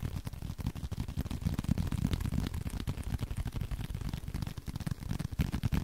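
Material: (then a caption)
Leather. A small blue leather card wallet, held in both hands, is tapped rapidly with the fingertips. The taps are soft, muffled thumps with almost all of their energy in the low range and very little brightness. Each tap dies away almost instantly in a quick, uneven patter.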